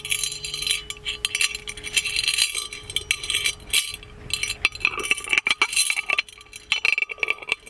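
The chained lid of a gold-plated metal magic lamp is lifted and jiggled, so the chain and lid clink against the hollow body. Rapid, bright metallic clinks and rattles come in uneven bursts, each short and dry with little ring. Faint steady tones hum underneath throughout.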